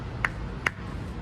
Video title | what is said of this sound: 2023 McLaren ARTURA.. what’s new on the latest McLaren Supercar .. | If I knock on this, it's completely solid.